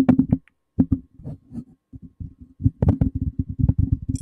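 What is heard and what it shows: A hollow, black cylindrical metal condenser microphone body on a stand is tapped and rubbed with fingertips and short nails. The result is a rapid, uneven series of dull, low, boomy thumps and soft scrapes with very short decay, broken by brief pauses. A faint, bright hiss appears at the very end.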